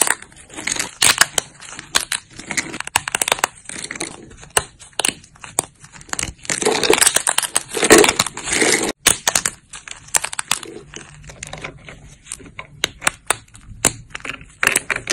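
Thin, solid dried soap plates with silver glitter are bent, snapped and crumbled between fingertips with long nude nails. Dense, bright crunches and sharp snaps come in quick irregular bursts, with short crumbling rustles between them.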